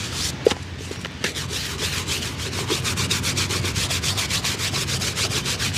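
A worn, hollow, empty leather shoe held on a lap is brushed with a small wooden-handled dauber brush along the sole edge and the upper. Quick, repeated rubbing strokes make a steady, bright, scratchy swish over a low background rumble, after a brief sharp tap near the start.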